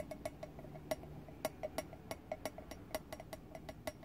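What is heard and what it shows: Fingernails tap and rub on the closed lid of a small round hinged metal tin, giving about twenty quick, light clicks with a short metallic ring near 625 Hz. A soft rubbing hiss runs underneath.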